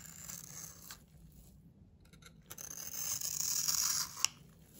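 A metal utility knife blade scrapes and carves the surface of a solid oval bar of blue-and-white striped soap held in the hand. A short, dry, bright scraping is followed by a near-silent pause with faint ticks. A longer, louder rasping scrape then builds and ends in a sharp click.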